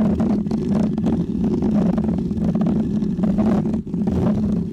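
Fingernails of both hands scratch a small, round, white, textured foam cover on a microphone. The result is a steady, dense, muffled rustling and rumbling, heavy in the low mids with a hum-like tone near 210 Hz and almost no high end. It dips briefly just before the four-second mark, then continues.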